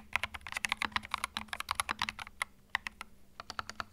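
Fingertips type on a small white 65% mechanical keyboard with plastic keycaps and a hollow plastic case, resting on a felt mat. About two dozen quick, bright plastic clacks come in a rapid, uneven rhythm, with a brief pause midway. A faint low hum sits steadily underneath.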